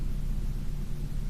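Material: Nothing is struck.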